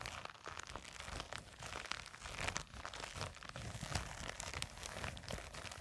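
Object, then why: Nylon fabric zip pouch. Long nails on both hands scratch and grip a small, seemingly filled black printed nylon zippered cosmetic pouch. The result is a dense, continuous crinkling and scratching with bright, rough fabric texture over a soft low rustle, at a quiet, fairly steady level.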